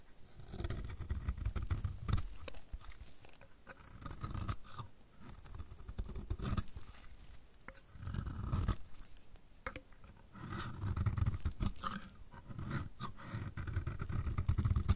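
A utility knife blade is scraped along the edge of a solid, dry, orange-striped soap bar. The result is a run of fast, uneven scraping strokes with a dull, low-heavy rasp and short crisp flicks. The strokes come in bursts that swell and fade across the clip.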